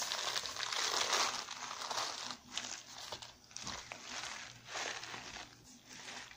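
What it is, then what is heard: Full kraft paper granola pouch. A full 330 g kraft paper stand-up pouch of pumpkin spice granola is held in both hands and squeezed and scratched with long red-painted nails. It gives a dense, bright crinkling and crunching that swells and fades in uneven bursts.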